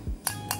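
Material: Steel.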